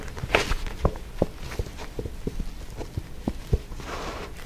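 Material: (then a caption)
Card. Fingernails tap and scratch the card back cover of a paperback book held close to the mic. A series of short, dry taps with low thumps and little ring is heard, ending in a softer, brushing scratch.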